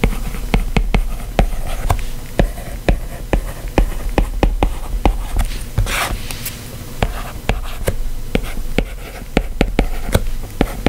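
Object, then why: Stylus tip on tablet glass screen. A white plastic stylus tip scratches and taps across the solid glass screen of a white iPad lying flat, writing continuous handwritten text. Short, sharp clicks land in quick succession over a steady low hum, with a brighter scratchy stroke around the middle.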